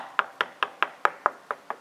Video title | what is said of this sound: Gravity Water Tank The Plumbing Is Simple | that's how you can tell where your water level is